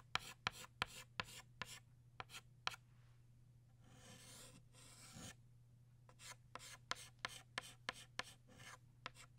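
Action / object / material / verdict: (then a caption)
scrape / chalk stick on chalkboard / chalk / none. A green chalk stick draws leaves on a flat black chalkboard with quick, sharp scratching strokes that tick brightly in a rapid series. The middle of the clip is longer, rasping rubs before the short strokes return. A faint low hum runs underneath throughout.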